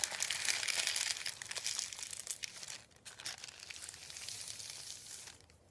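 Fingers press, lift and crinkle a thin sheet of printed white paper resting on a wooden table, making dense, bright crackling and rustling. The crinkling is loudest in the first half, drops out briefly near the three-second mark, then returns softer and fades toward the end.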